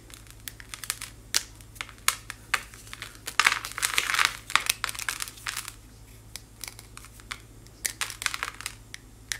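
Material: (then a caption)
Chalk. A thin slab of white chalk-like material is crushed in both hands, with fingertips and nails breaking it into powder that falls. Many sharp, bright crackles and snaps come in irregular bursts, including a dense run of crumbling in the middle. A faint low hum sits underneath.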